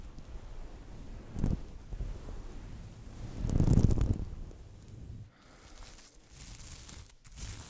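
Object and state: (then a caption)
Sequin fabric Christmas stocking. Fingertips and nails scratch and rub the sequin surface of a soft, hollow red sequin Christmas stocking with a plush cuff, held close to the mic. The result is a low, muffled rustling scrape with a brief swell near the start and a louder, longer swell in the middle, before it settles into quieter, lighter scratching.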